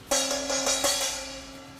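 A metal plate with no dampening stuck on it is struck several times in quick succession, each hit giving a bright, loud clang. A steady metallic ring with a clear tone near 570 Hz carries through, fading slowly over more than a second.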